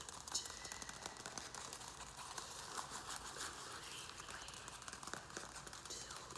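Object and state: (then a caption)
Plastic plant pot. Fingernails tap quickly on the rim and sides of a round black plastic plant pot, held in hand and filled with soil, perlite and a small succulent. The taps are soft, dry and bright clicks with short ring over a steady faint hiss, with little low end.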